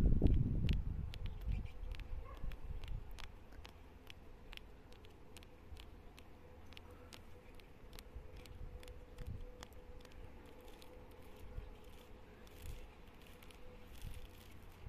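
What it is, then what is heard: Solid tree trunk bark. Long nails scratch and tap along the rough, textured bark of a solid, living tree trunk, producing quick, dry clicks over a soft scraping texture. A low rumble is loud at the start and fades within the first few seconds, and a faint steady hum runs underneath throughout.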